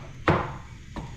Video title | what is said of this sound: P3 - BOAT TOUR - PAG HATID NG MGA PINTURA | Ganda ng tunog ng fiberglass mga kabisig.